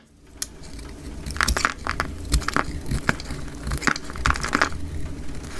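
A utility knife blade shaves curls off a solid, oval, dry orange-yellow soap bar held in the hand, with the footage sped up 2x. Quick, crisp, crunchy scrapes come in a rapid series over a steady low rumble, with bright ticks at each cut.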